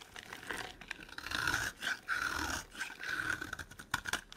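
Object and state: Dry soap bar scraped with a knife.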